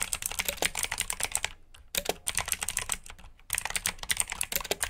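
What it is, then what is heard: Mechanical keyboard with clicky switches. Fingertips with short nails type on a full-size black plastic mechanical keyboard with RGB backlit keycaps, clicky blue switches and hollow key housings. Bright, sharp clicks come in quick bursts with two short pauses, each click dying away almost at once.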